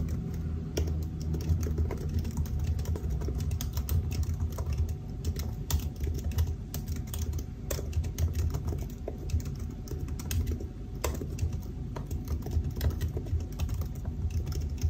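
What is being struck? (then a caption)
Laptop keyboard, plastic keys in a metal body. Fingertips of both hands type continuously on the black plastic keys of a silver aluminium laptop keyboard. The result is a steady stream of soft, quick clicks and taps that die away fast, over a low, dull hum.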